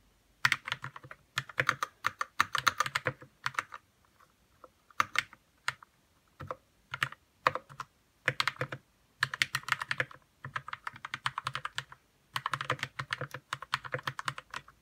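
Fingertips type on a white 60% RK61 mechanical keyboard with plastic keycaps and lubed red switches. Bursts of quick, bright key clacks come in runs separated by short pauses. Each keystroke is crisp and dies away almost instantly.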